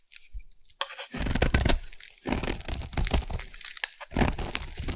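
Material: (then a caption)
Soap. A solid blue bar of soap is shaved with a metal blade, producing dense crunchy, crackling scrapes in repeated bursts with short pauses between strokes. The sound is full and low-heavy, with a bright gritty edge from the shaving.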